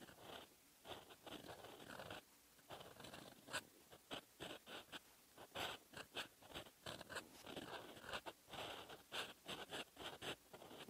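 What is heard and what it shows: A metal fountain pen nib scratches red ink across the lined page of an open paper notebook, making dry, papery scratching strokes with bright, hissy edges. The strokes come in short, uneven bursts separated by brief pauses, like handwriting at a steady pace.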